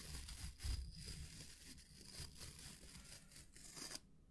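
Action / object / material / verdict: scrape / wooden-backed bristle brush / natural bristle / none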